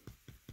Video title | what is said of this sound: Harvesting #Matsutake #Mushrooms (1) | I refer to that as like the top of somebody's boot leather boot and you kind of tap it it sounds kind of like that